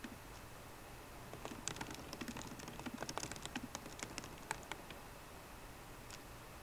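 Fingertips with long nails type at a slower pace on a MacBook Pro keyboard, its plastic keycaps set in a hollow aluminium laptop body. Soft, dry key clicks with bright, sharp edges and almost no ring come in loose, uneven bursts over a faint low hum, peaking near the middle of the clip and thinning out toward the end.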